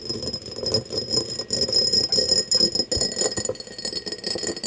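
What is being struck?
Cut crystal glass tumbler.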